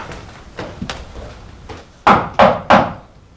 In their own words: Now, when I bang on this wall, it's definitely heftier.